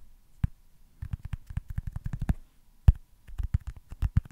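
Fingertips tap on a small, solid white foam baseball stress ball. Soft, dull, low thuds come in quick bursts separated by short pauses, each tap dying away almost instantly.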